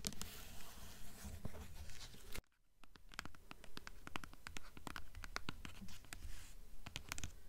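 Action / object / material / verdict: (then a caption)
scrape / hardcover book with paper dust jacket / paper / none. Long nails scratch the paper dust jacket of a blue hardcover book in a steady, dense rasp. After a brief hush as the book is turned from its front cover to its spine, the nails scratch the jacket over the spine in a run of sharp, bright, quick clicks.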